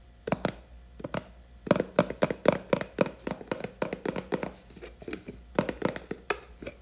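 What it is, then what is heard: Plastic jar lid. Long nails tap and scratch the top of the black plastic screw lid on a large blue plastic hair cream tub. The result is a quick, irregular run of dry, clicky taps with a hollow plastic tone around 570 Hz, bright scratchy edges and almost no ring, all over a faint steady low hum.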